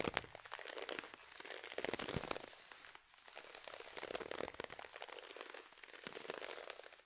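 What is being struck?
Nylon fishnet tights.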